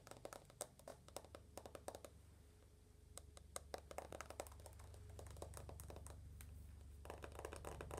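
Long nails tap fast on the glass screen and aluminum frame of an uncased iPhone with its lock screen on, making quick, dry, irregular clicks that stop almost instantly. A steady low hum runs underneath, and a faint mid-pitched tone holds through the middle of the clip.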